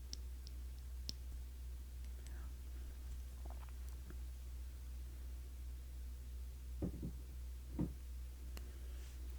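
Light knocks and clicks on the black plastic top of a cologne bottle, scattered irregularly over a steady low hum. The louder taps near the end stand out, each fading quickly.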